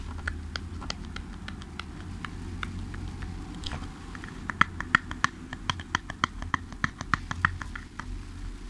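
Fingertips and nails tap the sides of a small, hollow, printed cardboard product box held close to the mic. The quick, dry, hollow clicks are quiet at first, then become sharper and louder in the second half, all over a steady low rumble.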